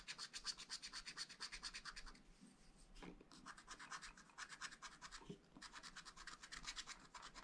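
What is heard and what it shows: A wooden stylus scratches small strawberry seeds into a black wax-coated scratch-art page in a small spiral-bound pad of thin, flat paper. Quick, bright, rasping strokes come in rapid bursts with short pauses between runs, and each dry scratch stops instantly without ringing.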